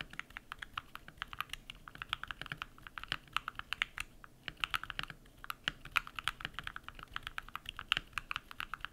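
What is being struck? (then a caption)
Mechanical keyboard with PBT plastic keycaps. Bare fingertips type rapidly on a compact modded mechanical keyboard with white PBT plastic keycaps and lubed switches. Dozens of short, crisp, bright clacks follow one another closely over a quiet background, each dying away almost instantly with little low-end thump.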